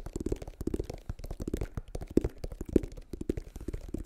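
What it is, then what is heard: Rubber sneaker sole. Fingertips and nails scratch and tap the circular tread and ridged sidewall of a white rubber sneaker outsole held close to the mic. The result is a quick, uneven run of soft, dull taps and rubbery scrapes, low and muffled, with no ring after each one.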